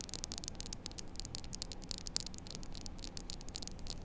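A small, solid, flat white-and-blue plastic poker chip, held close in both hands, is scratched and tapped with long acrylic nails. It gives a rapid, continuous run of sharp, bright clicks and scratchy ticks that die away almost instantly. A steady low rumble sits underneath.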